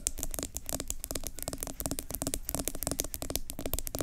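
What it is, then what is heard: Plastic scrub jar tapped and scratched. Long acrylic nails tap and scratch the sides of a medium yellow plastic Tree Hut pineapple sugar scrub jar with an orange plastic lid, which appears full and is held in both hands. A rapid, steady stream of short, dry clicks and scrapes with bright, crackly edges and a low hollow undertone, each tap dying away almost instantly.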